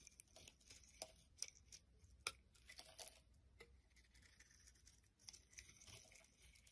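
A solid green soap bar held in the hand is shaved with a knife blade, and the flakes pile up. Quiet, bright scraping and crisp, tearing-like shaving strokes run throughout, with a few sharper ticks as the blade cuts and carves.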